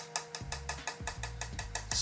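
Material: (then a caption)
Carbon fibre. A fingernail taps eleven times across a carbon fibre repair on a bike down tube, producing short, bright clicks with a brief ring. As the tapping moves onto the repaired area the taps turn softer and duller, which indicates the layers have likely separated.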